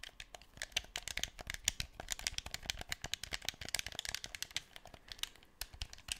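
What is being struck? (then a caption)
Hand-held plastic game controller. Fingertips press and click the buttons of a black, hand-sized hollow plastic PS4 DualShock 4 controller held close to the microphone, and tap and scratch its shell. The result is a quiet, rapid, irregular stream of dry, bright plastic clicks and taps. Each one dies away almost instantly, with a faint scratchy rustle between them.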